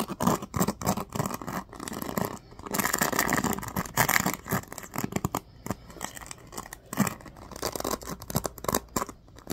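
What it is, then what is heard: Plastic paddle hairbrush bristles strummed. A small black plastic oval paddle hairbrush with a cushioned bristle pad and teal-tipped pins is held in one hand while fingertips strum and scratch across the bristles. The result is a rapid series of crisp, dry scratching and flicking bursts with bright, hissy detail. Occasional longer stretches of steady rustling run between the quick strums.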